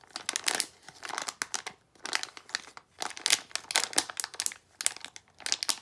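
A small sealed plastic foil blind-box bag holding a Disney d-Licious figure is held in both hands and crinkled and squeezed with fingertips and long nails. Bright, papery crinkles and crackles come in quick bursts with short pauses between them, with almost no low end and each crackle dying away instantly.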